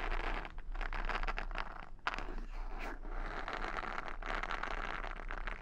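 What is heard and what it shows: Long nails scratch and flick the padded bristle side of a wooden paddle hair brush held near the mic. The result is dense, continuous scratchy crackling centered in the midrange, over a steady low hum, with a few brief dips in the texture.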